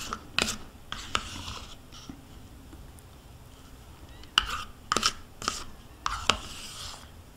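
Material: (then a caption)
Plastic. A metal spoon scrapes the inner wall of a small white plastic yogurt cup, which is held tilted in the hand and is mostly empty with yogurt residue left inside. Sharp, bright plastic scrapes and clicks, with a tone near 1.3 kHz, come in short bursts. A quieter stretch in the middle is followed by a denser run of scrapes near the end.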